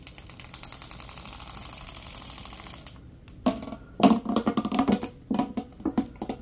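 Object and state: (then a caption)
Corrugated plastic tube. Latex-gloved hands pull and bend a hollow, yellow, ribbed corrugated plastic tube, making ratchet-like clicking. For about three seconds a fast, steady stream of soft, bright clicks runs together. After a brief pause come louder, uneven bursts of clicking with a hollow, low-pitched resonance.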